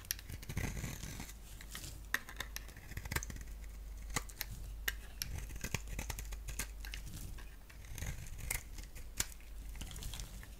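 A palm-sized rectangular bar of soap with a black shell and green-striped interior is shaved with a box-cutter blade into thin strands. Steady crisp scraping and soft tearing crackles are broken by sharp, bright clicks as the blade bites, all over a low, steady background rumble.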